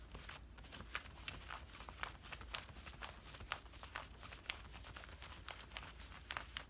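Fingers scratch and rub worn camouflage cargo pants made of woven cotton fabric at the hip and pocket. The result is a quiet, steady stream of short, dry scratches with bright, crisp texture over a low background rumble.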